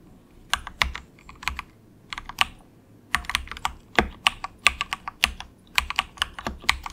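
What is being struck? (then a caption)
Plastic mechanical keyboard. Fingertips of both hands type softly on a cheap, compact 68-key plastic mechanical keyboard with a hollow case, resting on a desk mat. About 27 short, bright, clacky keystrokes come in quick bursts, with a brief pause near the middle. Each click dies away almost instantly and carries little low end.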